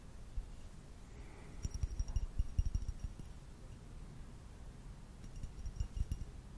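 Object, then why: Clear glass vase. Fingernails tap quickly on the rim and body of a medium, hollow, empty clear glass vase held in one hand. Two bursts of soft, dry taps come through, mostly as low thuds with a faint, bright glassy ping that dies away almost at once. Quiet stretches of background hush sit between them.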